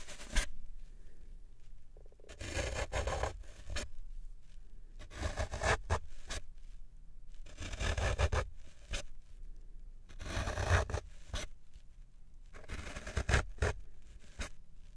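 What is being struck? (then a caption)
Green floral foam block. A metal fork is stabbed and scraped into the surface of a large solid green floral foam brick held by one hand on a wooden tray, leaving rows of holes. Repeated bursts of dry, crunchy scraping and crackling come in clusters, separated by short quiet gaps with a low background rumble.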